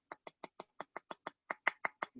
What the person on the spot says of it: you can hear me knock on it it is hard